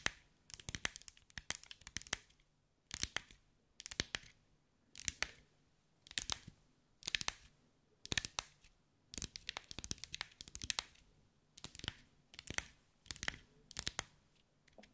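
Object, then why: Glass mosaic ball under fingernails. Long white acrylic nails tap and scratch over a hand-sized sphere covered in small green mirrored glass mosaic tiles, held in the hands. Quick bursts of sharp, bright clicks and scrapes come in clusters, separated by brief near-silent gaps, with almost no low end and no ringing after each tap.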